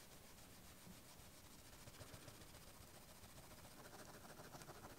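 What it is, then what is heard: Gold-plated metal watch case being polished. A gloved hand rubs and polishes a small, round, gold-plated metal case from a vintage Breitling watch with a white cloth, while another gloved finger holds it still. The case lies flat on a pad and is hollow and empty, with no movement or glass. The result is a quiet, steady, continuous cloth-rubbing swish with a soft low rumble and a faint airy hiss throughout.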